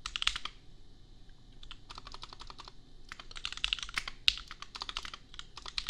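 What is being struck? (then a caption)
Mechanical keyboard with plastic keycaps. Fingertips of both hands type on a compact $250 custom mechanical keyboard with Gateron Milky Yellow switches and red/pink plastic keycaps. Bursts of quick, bright clacks come in rapid runs separated by short pauses, and each keystroke dies away almost at once.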